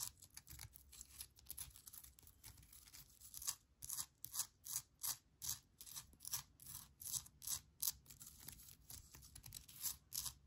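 Long nails tap and scratch the rough surface of a small, solid, speckled granite rock, palm-sized, with an air plant on top. The clip is a quiet, irregular series of short, bright, scratchy bursts with a crisp, dry texture and almost no low end or ring.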